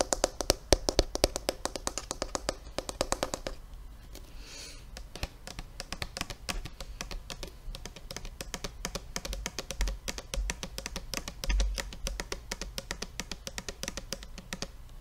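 Fingertips and nails tap quickly on the white cap and body of a large red Sargent Art-Time plastic tempera paint bottle, which appears full. The first few seconds bring a dense run of sharp, clicky taps. After a brief soft rustle, a steady stream of lighter, dry ticks follows over a faint low hum.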